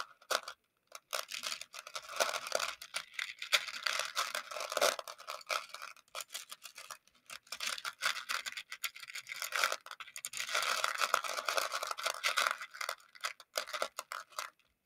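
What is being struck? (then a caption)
Plastic pony beads in a plastic dish. A makeup brush handle stirs and scratches through a shallow round clear plastic container full of small colorful plastic pony beads. The result is a dense, bright rattle of clicking and scraping that comes in busy bursts with brief pauses between them.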